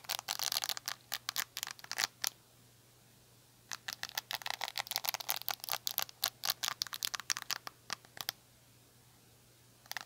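Long nails scratch across the dense short bristles of a black handheld rubber-bristle detangling brush. The result is a rapid series of crisp, bright, high-pitched flicks and scratches in bursts, with a quiet pause near the middle. A steady low hum sits underneath.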